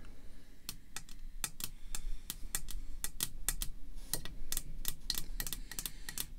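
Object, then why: Hard plastic card slab tapped with long nails. Long red fake nails tap quickly on a clear hard plastic PSA graded slab holding a matchbook-style card, lying flat. The taps are sharp, bright clicks that die away almost at once, in an irregular rhythm over a steady low hum.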